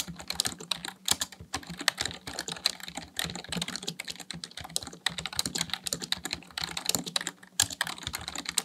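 Fingertips type rapidly on the keys of a black plastic full-size computer keyboard resting on a desk. The result is a fast, continuous stream of short, bright plastic clicks and clacks with almost no ring, plus a faint low hum underneath.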